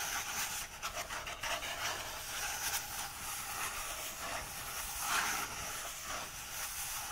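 Fingertips rub and brush over the printed paper pages of an open book. A steady, soft, papery hiss dominated by high frequencies is heard, with a few brief, slightly louder brushing strokes.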